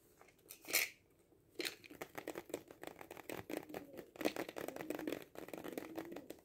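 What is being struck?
Cardboard kaleidoscope tube.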